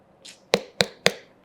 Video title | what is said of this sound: మంచి పుచ్చకాయను ఎలా ఎంచుకోవాలి? - #Watermelon benefits In Summer - health tips🍉🍉 - Dr Vikram Aditya | మనం ఇలా కొట్టినప్పుడు ఈ సౌండ్ ఇది ఫుల్ వాటర్ సౌండ్